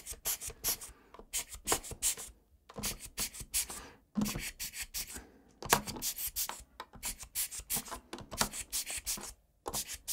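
A gloved hand scrubs the exposed brown switches and plate of a full-size plastic mechanical keyboard with its keycaps removed, using a small blue brush on the dust between the switches. Rapid, bright, bristly brushing strokes come in short bursts, separated by brief pauses.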